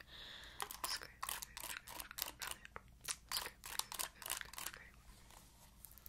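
Long acrylic nails scratch across the ball-tipped bristles of an oval plastic paddle hairbrush, producing a quick series of dry, crunchy, bright scratching bursts. The strokes come in rapid, uneven clusters over a faint low hum, then trail off into a soft, thin rasp.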